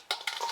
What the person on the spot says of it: Listen to how crispy they are.